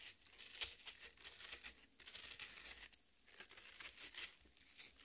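Long red nails scratch and tear into the juicy flesh of a half watermelon on a plate. Wet, bright tearing and crinkling scrapes come in bursts with brief pauses, rising to a sharp snap near the three-second mark.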